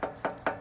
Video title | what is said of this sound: Ferris Z1 36 inch Stand On Lawn Mower Review | listen to me knock on this deck here, I mean, that baby is solid